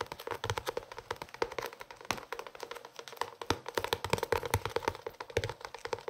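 A closed blue hardcover cloth notebook is held close and tapped or scratched on its cover with the fingertips. It makes a rapid, irregular stream of short, dry taps with a slight hollow knock near the low midrange. Each tap dies away almost at once.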